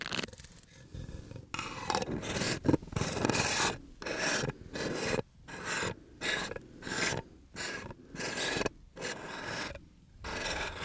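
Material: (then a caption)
Aluminum. A hand twists the screw lid of a small, round, seemingly empty aluminum tin on and off and rubs over the metal lid. This makes a dry, grinding rasp in repeated, irregular bursts with short silent gaps between them, the scraping noise reaching up into bright high tones.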